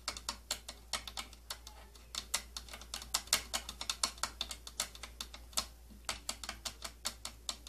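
Long nails tap and scratch across the purple plastic body and slotted rim of an old plastic tattoo kit case. A steady run of sharp, bright clicks with very short decay repeats over a faint low hum, with a few brief pauses between bursts.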